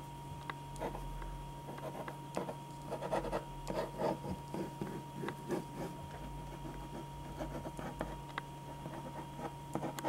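A black pen draws long, scratchy strokes across a single thin white sheet of drawing paper lying flat on a dark board. Dry scratching and rubbing bursts rise and fall in quick succession over a steady low hum and a faint constant tone.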